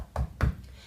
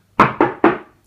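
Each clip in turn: First: solid wall. Second: hollow partition wall.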